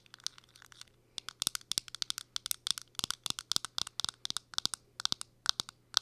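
Long acrylic nails tap and scratch a small round powder or blush compact, made of plastic and metal with a clear plastic window lid and a silver metal-look rim, held up in the air. About 35 sharp, bright clicks come in quick uneven bursts. Each click is crisp and dies instantly over a faint steady low hum.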